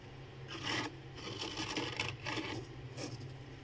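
Fingertips with red-painted nails scrape and rub the thick, solid frost buildup inside a freezer, breaking off clumps of ice. Four bright, gritty scraping strokes rasp over a steady low hum.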